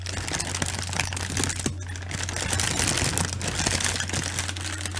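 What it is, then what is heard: Plastic air-cushion packaging. A large sheet of clear plastic air-cushion bubble wrap is held in both hands and crinkled and squeezed with the fingers. Dense, bright crackling and rustling with many small ticks runs throughout over a steady low hum, easing briefly before picking up again.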